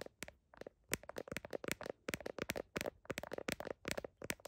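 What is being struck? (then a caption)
Smartphone in plastic case. Fingertips and nails rapidly tap and scratch the back of a small smartphone in a blue heart-print plastic case, including its camera lenses, while the phone is held in one hand. The result is a quick, irregular run of sharp, dry plastic clicks and crackly scratches that die away almost instantly and have a bright edge.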